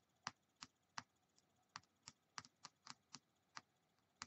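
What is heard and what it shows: A small solid white plastic die with blue and red pips is held between fingertips and tapped and scratched with long painted nails, while other dice sit still on a wooden table. About a dozen short, dry, bright clicks come at uneven intervals, some in quick pairs, each dying away instantly against a quiet background.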